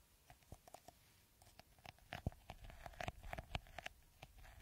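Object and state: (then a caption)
Plastic bottle with beaded top, scratched. Fingertips and nails scratch the green bead-textured top of a clear, hollow plastic bottle held upside down. The result is a quiet run of short, dry clicks and scrapes, each with a hollow tone and a soft low thump. The taps grow busier and louder midway through.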